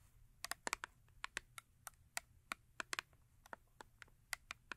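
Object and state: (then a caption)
Cardboard soap box. Long acrylic nails tap quickly on the face and top of a small cardboard Yardley soap box with a bar of soap inside. There are about 17 crisp, bright clicks, each dying away at once with no ring. The taps come in an uneven rhythm over a faint low hum.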